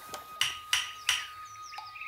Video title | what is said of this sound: Nyitott szemmel 2. - Kedves dinoszauruszok | Halljátok, hogy milyen tompán szól?